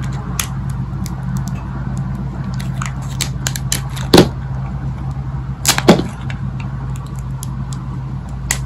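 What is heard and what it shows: A hand-sized solid green bar of dry soap is held in the palm while a thin metal blade in the other hand shaves and scrapes crunchy slices off its surface, and the shavings fall onto a pile of soap pieces. Many short, crisp, bright crackles come at an uneven pace over a steady low hum, with a few louder, sharper snaps standing out.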